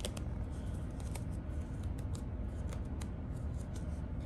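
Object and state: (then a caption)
Ripped denim jeans scratched with nails. Long blue nails scratch and pick at black distressed denim jeans with frayed rips, worn on the legs, catching on the loose threads. Soft scratchy rasps and faint brief ticks sit over a steady low rumble throughout.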